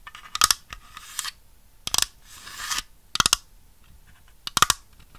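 A small, hollow white plastic dollhouse grand piano, held in one hand, is tapped and scratched with long red nails. The result is bursts of quick, bright, clicky taps interspersed with softer hissing scratches.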